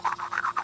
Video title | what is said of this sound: Geode Cutting | It sounds hollow. Oh, it is.